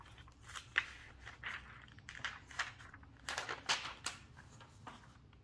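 Hands with long nails flip through the thin, flexible glossy pages of an open paper magazine on a table and smooth them down. Each turn gives a bright, crisp crinkling swish, separated by quieter rustling.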